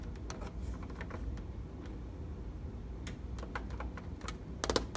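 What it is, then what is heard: Plastic treadmill console. Fingernails tap and press the buttons and plastic panel of a treadmill control console with an LCD display. Short, dry, bright clicks sound irregularly over a steady low rumble, with a louder quick cluster of taps near the end.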